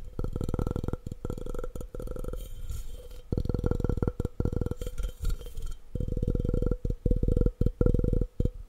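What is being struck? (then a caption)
Glass object. A glass object is tapped fast and aggressively in rapid bursts of dense, dull taps with strong low-end thump and a faint steady tone near 500 Hz. The bursts come in quick runs separated by brief pauses, and each tap dies away almost at once.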